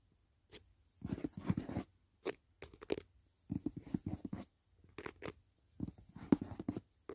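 Fingertips and nails tap and scratch the lid and edges of a closed, rigid white paperboard gift box resting on a bed. Quiet clusters of dry, dull taps and rough scratching strokes come in short bursts separated by brief pauses. Each contact is soft and muffled and dies out almost instantly.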